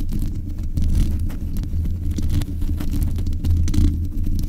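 Long acrylic nails of both hands scratch and tap the top of the hollow metal mesh grille on a black metal USB desk microphone. The contact comes through as a steady, boomy low rumble centered around 82 Hz, dotted with dense, brief scratchy clicks and faint bright ticks. The whole clip stays close and bass-heavy.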